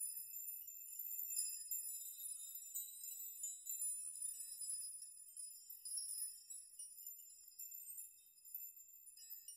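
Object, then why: Hanging metal nails striking each other. A chime made of hanging metal nails is rocked by hand so the strands swing and the nails strike each other. The result is a soft, continuous high, bright tinkling and jangling with short rings and no low end.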